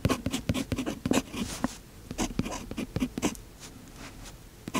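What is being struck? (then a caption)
Metal fountain-pen nib on a paper notebook page. A fountain pen's metal nib scratches across the page of an open paper notebook during continuous writing. Quick, dry scratchy strokes come in uneven bursts, busier in the first half and then softer and sparser, with a short pause before a final louder stroke.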